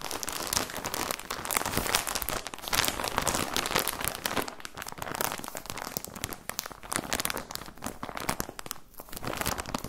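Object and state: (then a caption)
Plastic sock package. A clear plastic bag holding folded white socks, with a cardboard header, is crinkled and squeezed with the fingertips. It gives a dense, continuous stream of bright, dry crackles and rustles with brief louder crunches throughout.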